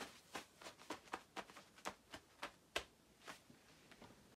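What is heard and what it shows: Long acrylic nails scratch across the quilted, padded panels of a shiny black nylon down puffer jacket with both hands. The result is a quiet series of short, crisp, bright swishing scratches with brief pauses between strokes and almost no low end.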